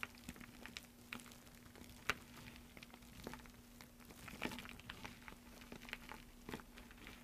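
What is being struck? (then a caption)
Pile of soap shavings. Fingers rake, press and crumble a loose heap of thin green soap flakes resting on a dark surface. The sound is a quiet stream of soft, dry crinkling and crackling with scattered sharper ticks and bright edges, over a faint steady low hum.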